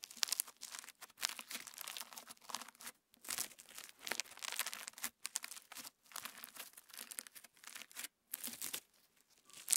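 Fingertips pinch clear slime packed with plastic star sequins, then spread it flat on a wooden table. The result is bright, crinkly crackling that comes in short, dense bursts separated by brief pauses, with almost no low end.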